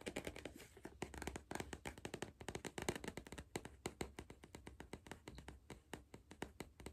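A cardboard crisp tube is tapped in a rapid, uneven flurry of short, dry taps for about seven seconds. Each tap is soft and hollow with a low thump and dies away almost instantly, with no ringing.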